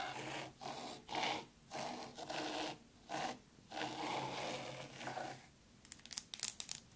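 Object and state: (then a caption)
Fine sand being raked. Long curved pink nails scratch and rake grooves through fine white sand in a black round zen garden tray. Raspy, gritty scraping strokes come in bursts separated by short pauses, with a bright sandy hiss. It ends with a quieter stretch of sharp, high ticking.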